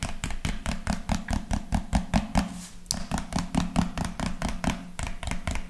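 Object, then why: Plastic lotion bottle. A hand-sized, hollow white-and-pink plastic lotion bottle with a rounded pink cap is held in one hand and tapped with the fingertips of the other close to the microphone. About 25 quick, dull, hollow taps come in an uneven rhythm, with a low resonant thump around 176 Hz that dies away almost instantly. There is a brief lull and a sharper, brighter tap near the middle before the tapping continues.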